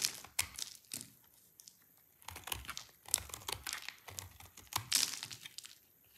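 A solid, dry orange soap bar is scraped with a utility knife blade into a pile of thin shavings. Bursts of bright, dry scraping and crinkly crackling come in clustered strokes, with quiet pauses between them.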